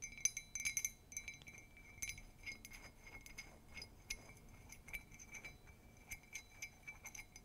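A large, empty, hollow ceramic mug, white with a black-and-white Mickey comic print outside and red glaze inside, is tapped and scratched with long pink nails. Many quick, bright clinks ring with a high, glassy tone and a steady overtone near 2.3 kHz, each dying away almost at once. Soft scratching fills the gaps, with the louder taps clustered at the start.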